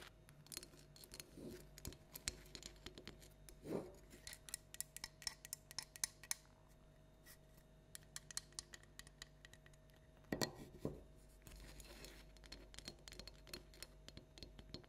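A small hollow orange plastic light-up jack-o'-lantern toy with an LED inside is held, then set on a table, and tapped and scratched all over with long nails. Quick, bright clicky taps and scratchy rasps come in dense bursts, with a few heavier knocks around the middle, over a low steady hum.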